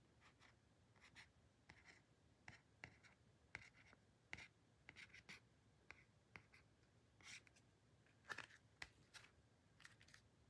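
Short fingernails scratch and trace the logo and bottom edge of a flat, solid, silver-white card-stock photobook cover held in the hand. A quiet series of brief, dry, bright scratching strokes comes in uneven bursts, each fading almost instantly over a soft background hiss.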